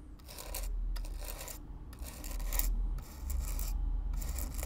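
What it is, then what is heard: Corrugated cardboard box being brushed. A stiff black-bristle brush is stroked back and forth across the hollow surface of a brown corrugated cardboard box, close up. Repeated bright, raspy scratching swells come and go over a steady low rumble.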